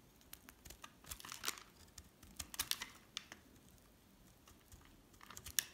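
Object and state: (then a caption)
Hard soap bar being scraped. A metal utility blade shaves and scrapes a solid pink bar of hard soap held in one hand, and flakes crumble off. The strokes come as short, dry, crisp scrapes and crackles, mostly bright with almost no low end. They sound quiet and close, with brief pauses between bursts.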